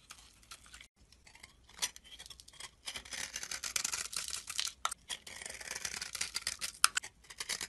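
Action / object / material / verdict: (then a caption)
scrape / soap bar scraped with a metal blade / soap / none. A solid tan-brown rectangular bar of soap, held in the hand, has its edge scraped with a metal blade, shaving off dry, powdery flakes. Bright, crackly scraping comes in short bursts with brief pauses, then builds into denser, continuous rasping in the middle and end, almost entirely high-pitched with very little low end.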